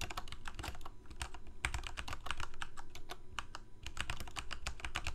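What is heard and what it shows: Fingertips of both hands type rapidly on a full-size black plastic Corsair mechanical keyboard with lit keycaps. A dense, steady run of quick, sharp key clacks blurs together, each with a bright click on top and a low thud underneath, dying away almost instantly.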